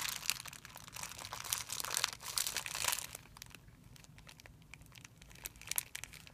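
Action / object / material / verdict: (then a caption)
scrape / thin clear plastic film bag / plastic film / none. Fingers pinch and crumple a thin, clear plastic film bag into a bunch on a white surface, producing bright, crisp crinkling and crackling. The rustle is loudest and densest over the first three seconds, softens to sparse crackles, then flares briefly again near the end.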